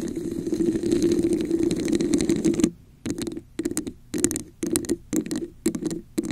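Long acrylic nails on both hands scratch and tap a hollow red textured plastic cup turned upside down over a microphone. About two and a half seconds of steady, hollow scratching ring around a low-mid tone. Then short, irregular bursts of tapping and scratching follow with brief silences between them.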